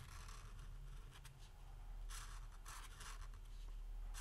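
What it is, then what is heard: Paper legal pad. A green felt-tip marker is drawn across a small, flat yellow lined legal pad lying on a wooden table, writing "Christmas" in stroking motions while the other hand steadies the pad, holding a capped marker that does not touch the paper. Soft, bright scratchy strokes come in irregular bursts over a steady low rumble.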